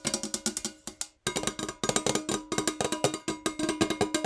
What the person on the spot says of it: tingly fast but NOT aggressive metal jar nail tapping